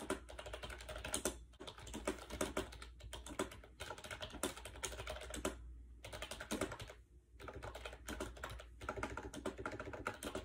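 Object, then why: Plastic wireless keyboard with round keys. Fingertips type fast on a compact gray plastic AJAZZ 308i wireless Bluetooth keyboard with round white keycaps, resting on a bed. The hollow plastic keys give a rapid stream of short, bright clicks that stop briefly a few times. A steady low hum runs underneath throughout.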